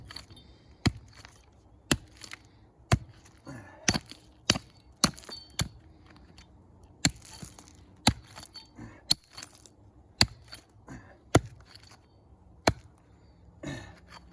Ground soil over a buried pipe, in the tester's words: it sounds Hollow it's because there's a pipe going right underneath us there